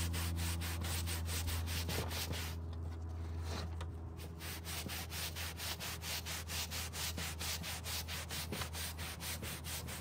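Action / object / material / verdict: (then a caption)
scrape / carpet car floor mat / carpet / none. A gloved hand scrubs the pile of a dirty dark grey carpet car floor mat, resting on a table, with a green-bristled plastic hand brush. Quick, fairly even back-and-forth bristle strokes produce a bright, scratchy rasp over a steady low hum. The scrubbing eases briefly near the start before resuming its rhythm.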